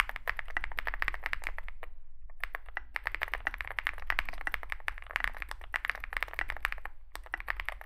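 Two hands type with their fingertips on a Zoom65 65% mechanical keyboard with a dark metal case (possibly aluminum), white and grey SA-profile plastic keycaps and lubed switches, resting on a desk mat. The result is a rapid, steady stream of short, crisp clacks and taps, with a brief pause around the two-second mark. A low, soft rumble sits underneath throughout.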